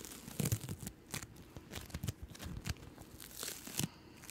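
A small, solid, palm-sized ball of yellow-green floam, polystyrene beads in sticky slime, is squeezed and pulled apart by fingertips with long nails. It gives a dense run of crackly, sticky tearing and crinkling sounds, with brief bright pops over a soft low rustle.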